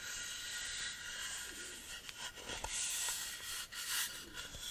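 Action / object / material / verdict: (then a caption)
scrape / beech wood board / wood / none. Fingertips and flat hands rub and scratch across the surface of a solid beech wood plank held tilted. The result is a steady, bright, rasping hiss with a few short scraping accents and almost no low end.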